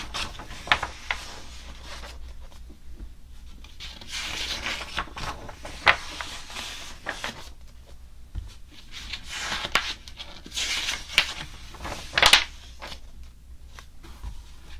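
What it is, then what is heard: Glossy paper magazine being rubbed. Fingertips rub and scratch across the glossy paper pages of an open softcover magazine, thin and flexible, lying flat on a blue table and held open at the same spread. The result is a steady, bright, hissy rubbing that swells in longer swishes, broken by sharp scratchy ticks and a few louder crackling accents, over a faint low rumble.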